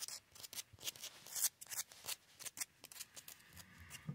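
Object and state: Concrete block wall.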